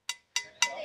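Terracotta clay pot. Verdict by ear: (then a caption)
Real. Three taps on a chemical-free terracotta clay pot from the South give bright, glass-like rings centered near 2 kHz with almost no low end. Each tap decays quickly, the last one lingering. The clear, glassy tone marks it as genuine chemical-free clay rather than a duplicate made with chemicals or oxides.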